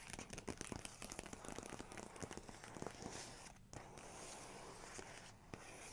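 Fingertips and long nails tap and trace the paper pages of an open large photography book showing a photo and a text spread, with no page turning. A quick run of dry, crisp taps and crinkly clicks gives way to a steadier, soft scratchy rubbing as the nails glide across the paper. A brief pause interrupts the rubbing before it continues.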